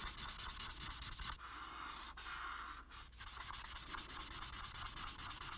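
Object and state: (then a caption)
Paper sheet being colored with a marker. A felt marker tip colors a flat paper sheet on a table in quick back-and-forth strokes, making a bright, dry scratching and rubbing sound. The rapid rhythmic strokes give way to a steadier, continuous rub with a couple of brief pauses. The fast strokes then resume to the end.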